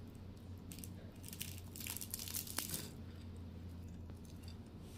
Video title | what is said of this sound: “Çıtır Çıtır Soğuk Baklava Tarifi - Hazır Yufkayla Kolay Yapım” | Çıtırtıyı dinleyin lütfen. İçi yumuşacık, dışı çıtır çıtır bir tarif.